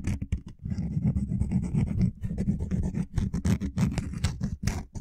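A small, flexible wooden lattice coaster of linked solid wood blocks, draped over the top of a microphone, is scratched and tapped with short-nailed fingertips. The result is a close, dense run of quick woody scratches and soft clicky taps, heavy in the low end, with brief pauses between flurries.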